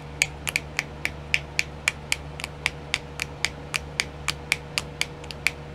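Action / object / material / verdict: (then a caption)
tap / small clear plastic compartment wheel / plastic / none. Long nails tap on a small, round, filled compartment wheel of clear plastic used for nail art, giving 23 short, bright clicks at an uneven pace. Each tap is dry and dies out almost at once, with its clicky ring centred near 2.3 kHz. A faint steady hum runs underneath throughout.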